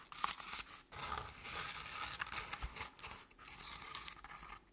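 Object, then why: Crepe-paper covered decorative pumpkin. Long painted nails of both hands scratch the sides of a crinkled crepe-paper jack-o'-lantern decoration, likely hollow. The result is a dry, bright, crackling scratch with a papery rustle, running in soft continuous strokes separated by brief pauses.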